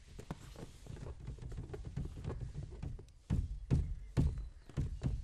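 A green latex balloon filled with liquid is rubbed and patted with the flat palm and fingertips. Soft, busy rubbing and light pats give way to louder, dull, deep thumps that die away quickly with no ring.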